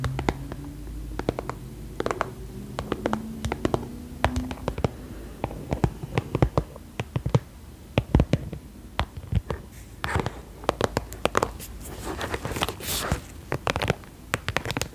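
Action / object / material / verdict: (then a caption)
tap / vinyl cosmetic bag / vinyl / none. Long nails tap and scratch the top surface of a hollow, iridescent croc-embossed holographic vinyl makeup bag with a metal zipper and a small plaque. Quick, dry clicks with very short decay alternate with soft scratchy rustles. The sound is mostly low-weighted and muffled, with only a little bright edge.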